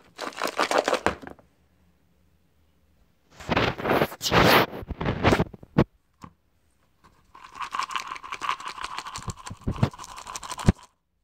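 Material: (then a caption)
Plastic, soap. A small, clear, hollow plastic cup partly filled with dry white soap scraps is held in one hand and shaken in three bursts. The scraps give off a dense, crackly rattling and scraping inside the cup, with short quiet gaps between the bursts.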